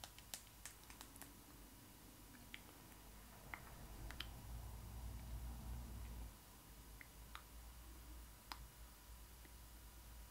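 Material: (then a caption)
Vinyl. Fingertips and long acrylic nails tap the face and eye area of the hollow vinyl head of a child-sized Disney ily 4ever Stitch doll dressed in a blue fabric costume. About fifteen quick, bright, dry clicks land at an irregular pace, each dying away almost at once, over a quiet low rumble that swells slightly midway before settling again.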